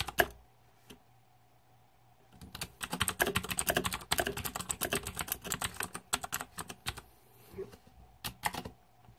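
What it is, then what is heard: Plastic mechanical keyboard being typed on. Fingertips type on the plastic keycaps of a green-backlit Razer 2014 Deathadder mechanical keyboard. A couple of isolated clicks and a short quiet gap give way to a rapid, steady run of sharp, bright key clacks, which slow into a few scattered presses near the end. A faint low hum and a steady mid tone sit underneath throughout.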